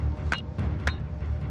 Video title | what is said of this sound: Australia in the First 4 Billion Years | Bang it together, it sounds like metal